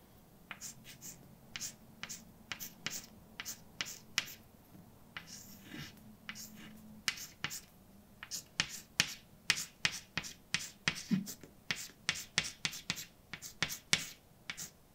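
A hand writes letters in white chalk on a large, dark chalkboard with a flat, solid surface. The chalk makes a quick series of sharp, bright taps and short scrapes with almost no ring, over a faint low hum.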